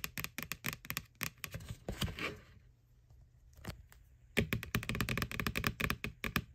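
Long nails tap quickly on the side wall of a small, hollow white plastic ghost Halloween candy bucket from McDonald's, right over its printed face. Sharp, bright clicks with a hollow, low knock come in fast runs, briefly giving way to a soft scratching rasp and a quieter gap. The tapping then resumes louder and denser to the end.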